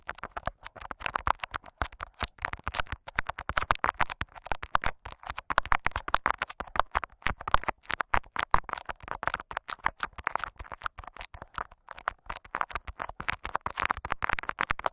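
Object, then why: Clear plastic tape wrapped over a microphone capsule. Fingertips and short nails of both hands scratch clear scotch tape wrapped over a microphone capsule. The result is a dense run of close, crackling scratches and taps with strong energy around 1 kHz and a boomy low thump. The sound stays sharp and dry throughout.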